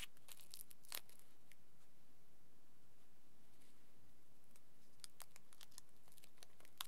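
Fingers pick up a small crumpled aluminium foil ball and squeeze and crinkle it. Quiet, bright, sharp crackles and crisp crinkling pops come in scattered bursts over a faint hiss, with a louder crunch near the start and a denser cluster toward the end.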